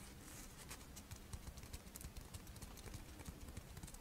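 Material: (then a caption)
Rice wafer. A pink, fish-shaped strawberry rice wafer monaka is held in the hands while long nails tap and scratch the dry wafer. The result is a quiet, steady run of soft, quick taps with brief crisp, bright scratchy ticks over a dull low thump.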